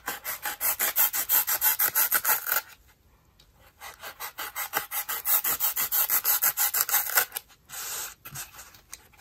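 A small rectangular dry white melamine-type foam sponge, held flat in a white plastic basin with fingertips pressing it down, is sliced and scraped with a green utility knife blade. Quick, dry, bright rasping strokes repeat about three times a second, pause briefly, then resume. The run ends with a longer, smoother rasp and a few faint scrapes.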